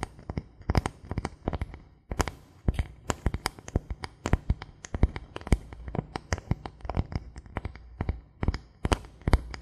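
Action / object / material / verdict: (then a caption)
tap / thin bamboo board / bamboo / none. A thin, solid bamboo board held in both hands is tapped and scratched with the fingertips. It gives a steady run of quick, dry taps with low, woody thumps and bright clicks. Soft scratching fills the gaps, and each tap dies away almost at once.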